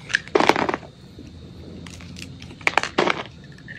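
A metal utility blade cuts and scrapes pieces off a solid white soap bar held in hand. It makes two bursts of dry, crackly crunching with bright scraping edges, separated by a quiet pause with a faint hum.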